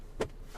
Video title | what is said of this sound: The Range Rover Velar is the Gran Tourer of SUVs - Evomalaysia.com | It's hard plastic, and then when you knock it, it rattles